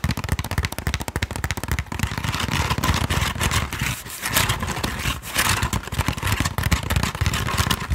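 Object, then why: Woven wooden sticky rice basket. A woven wooden Thai sticky rice basket is tapped and scratched in quick, uneven bursts. Dry, crackly clicks ride over a low, hollow thump, each tap dying away almost instantly, with brief scratchy hisses between them.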